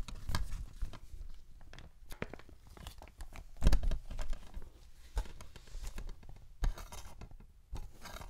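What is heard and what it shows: A small, flat, yellow cellulose sponge, porous and soft, is held in both hands close to the microphone and squeezed and rubbed with the fingertips. It makes a quick series of soft, crackly crunches and rustles with low, muffled thumps. A few louder squeezes stand out.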